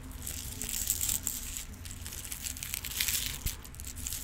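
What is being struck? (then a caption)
Clear plastic organizer box with rhinestones. A clear plastic multi-compartment organizer box full of rhinestones is tilted and shaken, and tapped with acrylic nails. The stones give a steady, dense, bright rattling and clicking, with a soft low rumble underneath and one sharper tap near the end.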